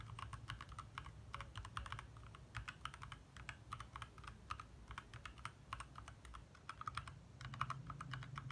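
Both hands type fast with their fingertips on a compact 60% backlit mechanical keyboard with lit plastic keycaps. The result is a rapid, uneven stream of short, crisp key clacks centered around 1.2 kHz, each dying away almost instantly, with a steady low rumble underneath.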